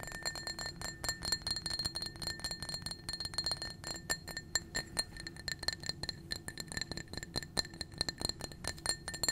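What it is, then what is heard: Empty glass tumbler. Long nails rapidly tap and clink against a small, empty blue-tinted glass tumbler. The sound is a fast, dense run of bright, thin glassy clicks with a high ring that dies away almost instantly after each tap.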